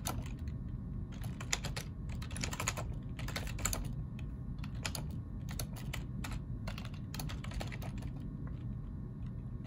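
A black plastic ergonomic computer keyboard is typed on with the fingertips of both hands. It produces a quick, uneven run of light, bright key clicks in bursts with short pauses, over a steady low hum.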